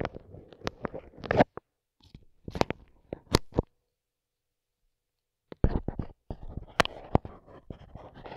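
A wooden skewer tip, held in a gloved hand, pokes and rubs a dark microphone capsule wrapped in clear plastic film, its grille removed. Close, crinkly crackling and sharp clicky taps come in bursts with a low, muffled rumble underneath. The sounds pause for about two seconds of silence before resuming more densely.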